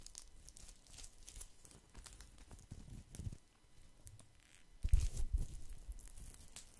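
A round, flat, woven natural straw or rattan placemat or trivet is held close and scratched with fingertips and nails across its woven coils. This gives a steady, irregular dry crackling and crinkling rustle with a low, close rumble underneath. The scratching grows louder and harsher in a brief burst near the five-second mark before settling back to a softer scrape.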